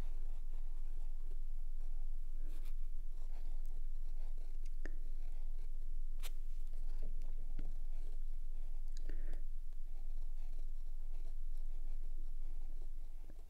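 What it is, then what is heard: Pen nib scratching on sketch paper. A steel fountain pen nib draws many small strokes across a large square pad of 170gsm sketch paper lying flat on a wooden table, making a fine, dry scratching with occasional brighter ticks. A steady low hum runs underneath, and the sound fades out at the end.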